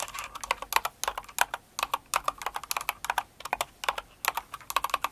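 Two hands with long acrylic nails type quickly on a Cinnamoroll-themed kawaii mechanical keyboard with plastic keycaps. About 34 sharp, bright clicks sound in an uneven, rapid stream, each with a clacky tone near 900 Hz. Each click dies almost instantly, with no low-end thump.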